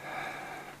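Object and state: Nothing is struck.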